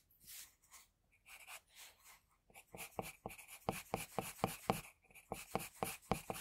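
A pencil draws fine strokes around the eyes and hairline on a flat white sheet of drawing paper. Soft, airy scratching strokes come first, then give way to a faster run of sharper, crisp pencil ticks and short scrapes with a bright, papery edge.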